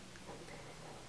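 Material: Nothing is struck.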